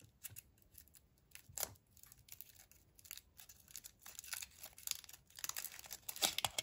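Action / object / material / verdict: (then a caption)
scrape / chocolate egg in thin aluminium foil / aluminium foil / none. Fingertips peel and crinkle the thin printed aluminium foil wrapper off a small Kinder Surprise egg with a hollow chocolate shell. Quiet, bright crackles, tears and crinkles come in a steady scatter of many short bursts, growing busier toward the end.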